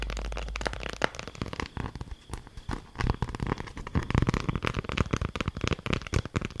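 A folded beeswax-coated cloth food wrap is held close and scrunched and crinkled with fingertips and nails. It makes a dense run of sharp, dry crackles and crinkles over a low rumble, quieter at first and growing louder and busier after about three seconds.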